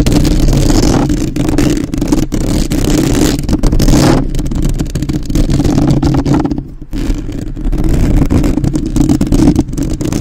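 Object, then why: Metal mesh microphone grille. Long nails rapidly tap and scratch the metal mesh grille of a black, uncovered microphone with both hands. The result is a dense, continuous stream of close, boomy thumps and scratchy rustling, heavy in the low end, with a brief quieter dip about two-thirds of the way through.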